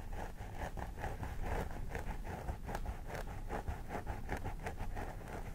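Both hands scratch the scalp of a vinyl mannequin doll head with synthetic hair, using medium-length fingernails. The result is a steady run of quick, crisp scratching strokes that rustle through the hair over a low, dull rumble.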